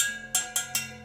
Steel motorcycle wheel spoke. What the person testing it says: like a tense sound like a ting